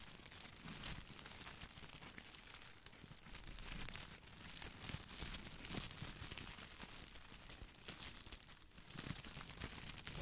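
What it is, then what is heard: Plastic artificial boxwood ball. Fingertips scratch and brush the glossy plastic leaves of an artificial boxwood ball held close to the mic. The result is a steady, quiet stream of dense crinkling and crackling with bright, crisp ticks over a soft low rustle.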